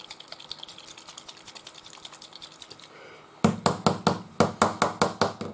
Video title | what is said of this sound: Painting Trumpeter's KV 1 - 1:35 with Ammo Mig Products 🙂 Live on Facebook. | you can hear it. It's not so good. Okay, the ball is there.